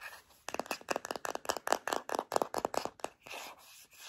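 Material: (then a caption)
Plastic. Long nails tap quickly and repeatedly on a filled white plastic Native deodorant stick container, making a dry, hollow plastic clicking run. The tapping then gives way to a softer scratchy rubbing across the plastic at the end.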